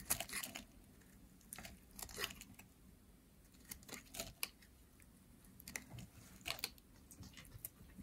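A pink solid bar of dry soap, held in hands with long nails, is carved and scraped with a metal blade. Short, dry, crisp scraping and cutting bursts with bright, hissy edges come in quick irregular clusters separated by quiet pauses. The overall sound is soft and close.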